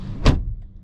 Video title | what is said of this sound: Is The 2024 BMW X1 M35i The Best Entry Level Performance SUV On The Market? | close the door so you can hear that sound really solid sounding very solid sounding